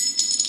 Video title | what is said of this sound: Teardown of expensive DLP TV. | I know this is metal because that is sounds like metal but it's very lightweight cast metal